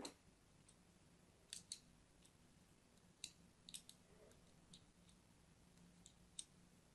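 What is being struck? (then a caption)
Bar of soap. A solid pink-and-white striped soap bar is held in the hand and crosshatch-scored with a thin blade. About ten short, bright scratching and cutting clicks come at irregular intervals over a quiet, low background hum.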